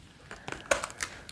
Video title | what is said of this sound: ASMR Soft Voice Haul 🌿 Healing Through Food: Menopause, ED Recovery & Body Acceptance | the sound of tapping on it is really nice